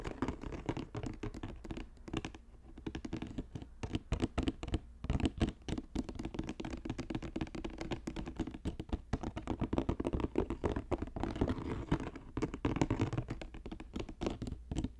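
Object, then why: Woven plastic-strip basket. Fingertips and nails tap rapidly at the bottom edge of a hollow, box-shaped green basket woven from plastic strips, about 20 cm across. The result is a steady stream of quick, dry, muffled taps and light scratches with a low, hollow body and almost no bright top. Each tap stops dead with no ring.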